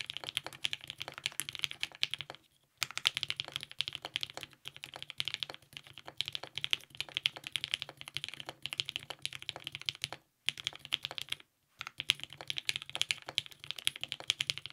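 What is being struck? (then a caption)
Mechanical keyboard with ABS plastic keycaps. A compact TGR 910 RE mechanical keyboard with lubed 55g Nixie switches, a polycarbonate plate and purple GMK ABS keycaps is typed on continuously with the fingertips of both hands. The clip is a steady stream of fast, bright, clicky keystrokes with almost no low end. The typing stops in a few brief pauses, around 2.5, 10.3 and 11.6 seconds.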